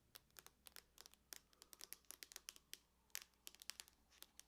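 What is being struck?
Aluminum laptop lid.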